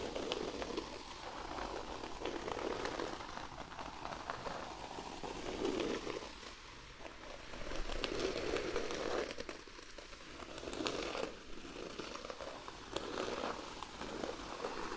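A hand scratches the surface of a large, flat, thin cork sheet lying on a white blanket, using medium-length rounded nails. The result is a steady, dense, dry crackling scratch with a mid-range body and a bright, gritty top. It swells and fades in slow waves as the strokes come and go.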